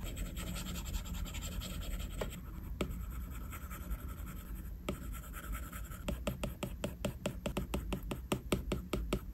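A plastic Apple Pencil tip moves across the flat glass screen of an iPad while coloring, making short scratching and tapping strokes. Soft, steady scratching with a few sharp ticks fills the first six seconds. It then turns into a quick run of crisp, separate taps and strokes.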